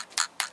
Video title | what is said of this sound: Yard Sale Shenanigans - Episode 7: Chinese Knock-offs and Zelda Games - The Grinded Word | you can hear that it's hollow completely Hollow